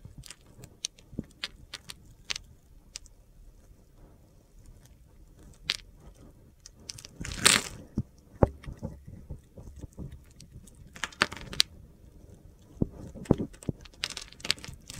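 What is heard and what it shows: A metal utility knife blade carves and scrapes the scored surface of a solid blue glittery soap bar held in the hand, cutting it into small cubes. Short, bright, crunchy clicks and gritty scrapes sound over a quiet background, with a longer, louder scraping burst around the middle and clusters of sharp cuts toward the end.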